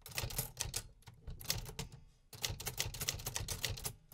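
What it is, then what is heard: Metal typewriter keys. Fingertips type continuously on the metal keys of a vintage 1950s metal manual typewriter, producing rapid, bright mechanical clacks with a low thump beneath each strike. There is a brief pause before the typing resumes.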